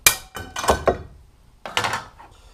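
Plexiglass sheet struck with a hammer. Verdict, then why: Brittle. A plexiglass sheet, being compared with monolithic polycarbonate for a vacuum chamber, is struck with a hammer in several sharp, bright blows. It cracks and shatters with a glassy clinking, breaking sound, showing that it is brittle.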